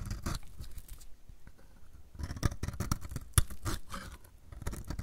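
A metal utility blade repeatedly shaves flakes off the edge of a solid, dry, purple striped bar of soap. Crisp, dry scraping and crumbly crackling strokes come in bursts, with low thuds underneath and a brief quieter gap in the middle.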